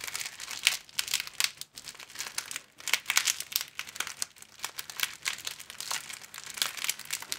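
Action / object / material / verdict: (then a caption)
scrape / thin plastic film sleeve / plastic film / none. An empty sleeve of thin, clear plastic film, folded long and flat, is held at both ends and bent back and forth with the fingertips to crinkle it. The result is a steady run of bright, crackling crinkles in quick, irregular bursts, with almost no low end and only brief quiet gaps between flurries.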